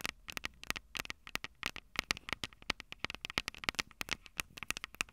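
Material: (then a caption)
Metal. Long purple nails tap and scratch the metal microphone capsules on a Tascam DR-05 recorder, making around thirty quick, irregular clicks. Each one is sharp and bright, centered near 2.3 kHz, with almost no low end and no ring, over a faint hiss.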